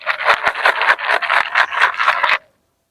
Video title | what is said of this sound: How To Grow & Harvest Loofah (Luffa) | when you shake it you should be able to hear all these seeds